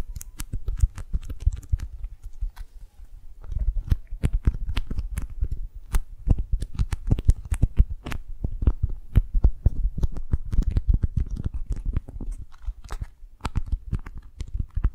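A small patterned beeswax-coated cotton food wrap, rolled into a tube and held in both hands, is gripped, squeezed and rubbed with long nails and fingertips. Dense, sticky crackles and sharp clicks with short bright edges ride over a heavy, low, muffled rustle. The sound continues for the full fifteen seconds, with brief quieter gaps.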